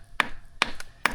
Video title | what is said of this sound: Deadly Snake Encounter While Exploring New Caves - #caveexploration | I don't like the sound of that. It almost sounds hollow.